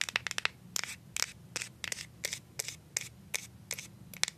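Paper clip nails tap a plastic deodorant stick, first on its white plastic bottom dial and then on its side. The result is a quiet, uneven series of sharp, bright, dry clicks with almost no ring, a clicky high-pitched character and very little low end.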